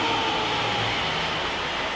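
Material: Nothing is struck.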